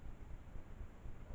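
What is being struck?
Nothing is struck.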